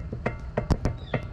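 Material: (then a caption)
Steel. A worn steel universal joint on the front driver's side axle shaft of a 2008 Jeep Wrangler is grabbed and shaken by hand, producing a series of short, dull, low-pitched clunks from play in the joint. The joint had been making a clicking noise while driving, and the play shows it is bad and needs replacing.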